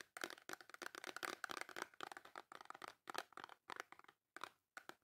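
Long nails tap and scratch the face of a small white cardboard Dove soap box with the soap still inside. The result is fast, crisp clicking and dry, papery scratching in quick bursts separated by brief silences, with a bright, thin tone and no low end.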